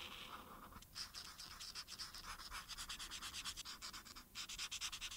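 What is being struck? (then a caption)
Felt-tip marker on thin paper. A felt-tip marker held in the hand rubs back and forth across a thin printed paper coloring sheet lying flat, coloring in the shoes. It makes quick, bright, scratchy strokes in a steady rhythm, with brief pauses near the start and again just after four seconds. There is almost no low end.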